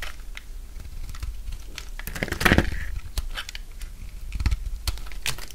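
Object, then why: Bar of soap cut with a blade. A solid bar of dry orange soap held in the palm is shaved into thick curls with a utility knife blade. The clip is full of crisp scraping and cutting strokes with dry crunching and crinkling, and a longer, louder scrape comes in the middle over a low, soft background rumble.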